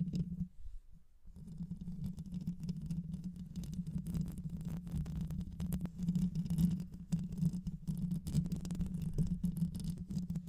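Long white nails scratch the rounded metal mesh grille of a black microphone with a hollow head, using both hands. The result is a close, continuous low rumbling scrape with a steady hum near 170 Hz and dense rapid patter, with a brief quieter dip near the start.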